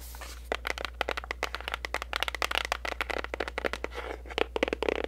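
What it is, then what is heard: Cardboard gift box. Long nails tap and scratch rapidly on the sides and back of a pink printed cardboard gift box, making dry, crinkly clicks and scrapes with bright edges over a steady low hum.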